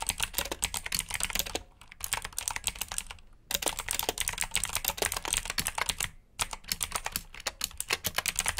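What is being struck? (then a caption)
Plastic mechanical keyboard. Fingertips type in continuous bursts on a black backlit plastic mechanical keyboard with blue switches, producing rapid, bright, clicky keystrokes. The short pauses between bursts are near 1.7, 3.3 and 6.3 seconds.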